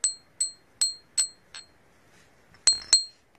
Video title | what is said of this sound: TARA SURIIN NATIN ITO!!! | Matulis ang tining niya, di ba? Yung masyadong parang bakal.